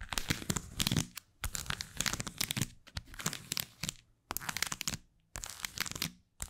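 Long white acrylic nails scratch and tap the surface of a small black textured leather card holder with plastic cards tucked in its slot while it is turned in the hands. Bursts of crisp, dry, crinkly scratching and tapping with a bright edge come in waves separated by brief pauses, with no ring after each sound.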